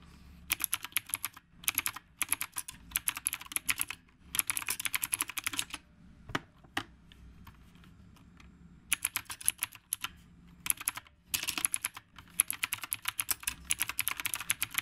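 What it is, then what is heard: Typewriter-style mechanical keyboard. Fingertips type continuously on a retro typewriter-style mechanical keyboard with round plastic keycaps. Bursts of sharp, bright clicks alternate with short pauses and a few isolated taps, and each click dies away almost instantly.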